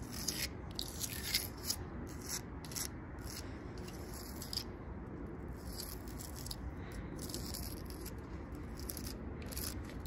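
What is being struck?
Tree trunk bark.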